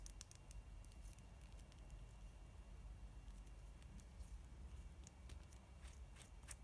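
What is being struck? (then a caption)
Plastic mascara tube. Long nails tap and scratch on the body and cap of a pink, hollow plastic mascara tube filled with product and held in both hands. Quiet, sharp, bright clicks and light scratches patter irregularly over a steady low rumble.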